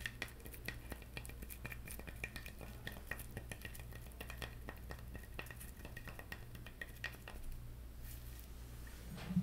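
Fingertips and nails tap a whole, hairy, brown, hand-sized coconut with its net removed, its hard hollow shell holding a small amount of liquid. Many quick, dry, bright clicks and light scratches on the fibrous shell sound over a steady low hum, with each tap dying away almost at once. A slightly louder, lower knock comes at the very end.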